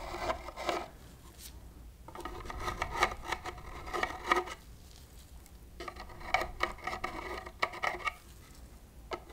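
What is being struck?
Small open cardboard box scraped inside with a metal wire whisk.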